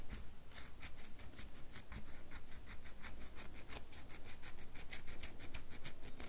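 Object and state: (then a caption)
Bar of soap, scratched. A solid red bar of soap is held in both hands while long nails scratch across it. The result is a quick run of dry, bright scratching strokes at an irregular pace, with a low rumble underneath.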